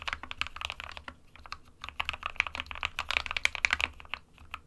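A small 60% mechanical keyboard, the SK61, with a white plastic case and plastic keycaps, rests on a printed desk mat while both hands type on it with fingertips. Rapid, bright plastic key taps come in uneven bursts, each click short and dry with almost no ring, peaking high around 2.3 kHz over a faint low hum.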